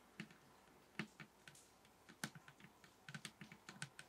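A table top is tapped with the fingers in about 19 soft, irregular taps. Each tap is a short, dull, bassy thump around 200 Hz with a brief brighter click on top. The taps die out almost at once against quiet background hiss.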